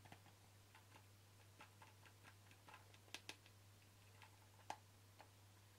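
Fingertips and nails tap the flat sides of a hollow white plastic supplement bottle with a ribbed screw cap and a red-bordered label, held in the hands. Light, irregular clicking taps with a short, hollow ring around 850 Hz; seven stand out louder and brighter than the rest. A steady low hum runs underneath throughout.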